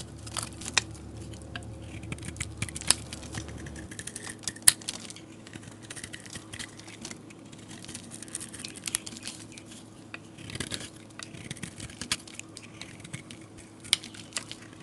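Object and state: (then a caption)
Soap bar being shaved with a blade. A metal utility blade shaves curls off the surface of a solid, palm-sized white oval soap bar. It makes a steady run of crisp, bright scraping and crackling with many quick ticks and a few sharper snaps, over a faint low hum in the first few seconds.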